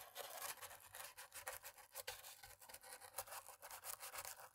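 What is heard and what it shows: A cotton-tipped thin stick, held by a hand with long nails, scrubs between the keys of a dirty black plastic laptop keyboard. The result is a quiet, steady, scratchy rubbing made of rapid back-and-forth strokes with a bright, airy hiss and almost no low end.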